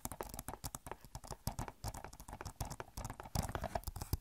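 Long nails tap rapidly on the back of an Overwatch game case made of hollow plastic. About 26 quick, irregular taps sound as dry clicks with a low, hollow thump and almost no ring. They overlap in quick bursts that come closer together and louder near the end.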